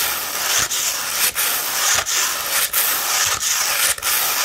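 Long red nails scratch up and down along a rolled tube of 240-grit sandpaper. The result is a steady, bright, gritty rasp broken by brief dips each time a stroke changes direction, in a loose back-and-forth rhythm.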